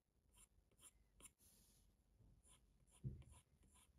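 A plastic Apple Pencil tip taps and scratches across the glass touchscreen of a large iPad Pro in writing-like line strokes. Soft, quiet clicks with bright ticks sit over a low, muffled rumble, and a slightly louder tap lands near the three-second mark.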